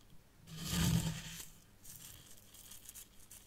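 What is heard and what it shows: Fingertips with long nails scratch and pinch fine white sand in a small hexagonal tray of a miniature zen garden, near the tealight holder. A gritty, bright scratch swells to a peak and fades, followed by quieter, intermittent rustling scrapes in the sand.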